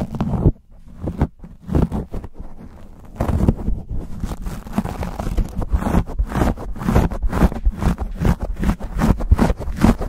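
Fingertips and short nails scratch and squeeze a black foam windscreen on a silver condenser microphone. The result is dense, rapid, muffled scratching and crinkling with a heavy low rumble. After a brief loud burst there are quieter, sparser strokes, then from about three seconds a fast, steady run of scraping bursts.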